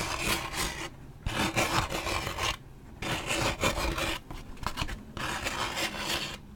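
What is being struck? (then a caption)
Waxed paper drink cup. A large waxed paper drink cup with a lid and straw is held in hand while its printed side is scratched with a thin toothpick-like stick. Dry, rasping scratch strokes come in bursts with short quieter pauses, giving a bright, papery scrape with a low rustling body.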